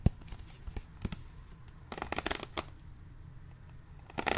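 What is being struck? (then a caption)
Thin plastic water bottle. Fingertips tap and squeeze the walls of a partly crumpled, clear plastic water bottle of about 0.5 L with a blue label and white cap, held in one hand. The result is scattered, dry, crinkly taps and crackles with a low thump behind them, including a dense burst of crackling in the middle and a sharp snap at the start. Each sound dies away almost instantly.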